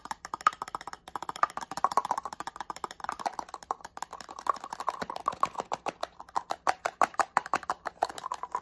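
Fingernails tap quickly along the surface of a small black plastic spray bottle. The result is a rapid, continuous patter of dry, hollow clicks centered in the midrange, each one dying away almost instantly, with almost no low end.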